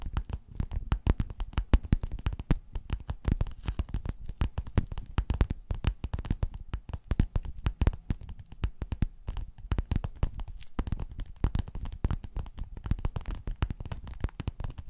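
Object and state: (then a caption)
Quilted faux-leather cover. Long nails scratch and tap rapidly across the grid surface of a flat, padded, gold, quilted metallic faux-leather cover. The sound is a dense, continuous stream of soft, dull, low-heavy taps and scrapes with no ring, at an even, quiet level throughout.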